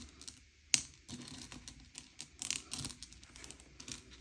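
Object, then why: Sugar-shelled chocolate candies on a plate. Fingertips slide and push a pile of M&M's, small hard sugar-shelled chocolate candies, around a grey plate to sort them by colour. The result is a quiet, bright run of light clicks and shell-on-shell clatter, with one sharp tick standing out early on.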